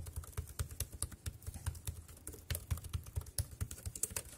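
Fingertips tap the keys of a dark grey compact plastic wireless keyboard resting on a plastic sheet. The quick, irregular clicks combine a dull low thump with a bright, crisp top and die away almost instantly. The result is a soft, steady patter of typing.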